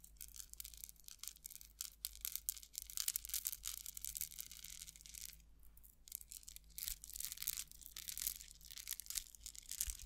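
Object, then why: Metal rhinestone chain tassel. A metal rhinestone chain tassel, held by the top, is stroked and rattled with long acrylic nails, making a soft, bright jingling and scratchy rustle with many tiny clicks. A faint low hum runs underneath, and a brief quieter pause comes around the middle.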